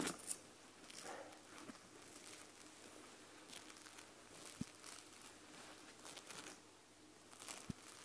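Long nails scratch across the white plush fabric back of an eye mask. The result is quiet, soft, bright scratchy rustling in repeated bursts, with a couple of brief sharp clicks.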